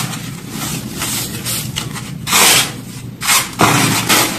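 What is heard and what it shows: Hands with pink-painted nails squeeze, crush and rub handfuls of a large loose pile of white crumbled baking soda chunks and powder on a dark surface, with pink baking soda balls sitting untouched around the edge. Soft, bright crunching and gritty rustling come in bursts, with louder crushes standing out over a steady low hum.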